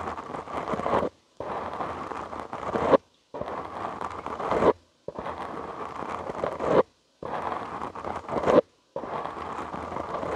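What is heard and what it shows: Short nails and fingertips scratch a soft, porous black foam windscreen on a studio microphone. Six bursts of dense, crackly scratching are heard, each about a second or more long and separated by brief silences. The sound is a close, rough rustle centered in the midrange.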